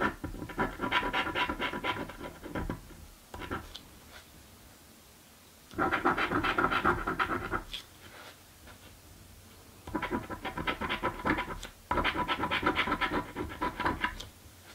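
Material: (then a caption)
Paper. A coin held in the fingertips scratches the scratch-off coating from a "Mystic Riches" paper scratchie lottery ticket held flat on a table. Five bursts of rapid, dry, bright rasping are separated by quiet pauses.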